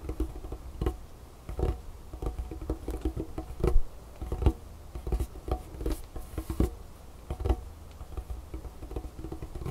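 Both hands tap and scratch a large, solid, dark wooden tabletop with painted fingernails and fingertips. Irregular, dull, low thuds mix with soft nail scratching and patter. Each tap dies away almost at once.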